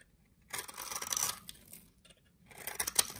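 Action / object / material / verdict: scrape / solid soap bar shaved with a knife blade / soap / none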